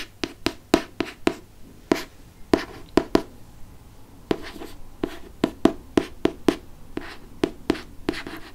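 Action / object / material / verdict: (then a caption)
tap / hardcover book with glossy cover / cardboard / none. Fingertips and nails trace and lightly scratch the glossy front cover of a Chamber of Secrets hardcover book. The clip is a quick series of short, dry, crisp scratches with bright edges and almost no ring. Softer brushing fills the gaps, and there is a brief quieter pause in the middle.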